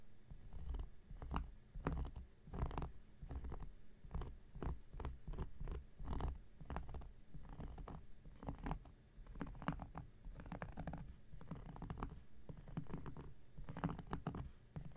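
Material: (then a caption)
Cork. An x-acto knife blade scratches a large, round, flat coaster of solid cork lying on a surface. The clip is a steady run of short, dry scraping strokes, mostly low and muffled, with occasional brighter rasps where the blade bites harder.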